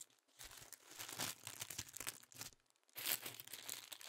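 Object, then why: Thin tissue paper sheets. Several thin pink tissue paper sheets, held in both hands, are crinkled and rubbed between the fingertips. The result is soft, bright, dry crinkling and rustling in dense bursts, with brief near-silent pauses. The longest pause comes before a final louder stretch of crinkling.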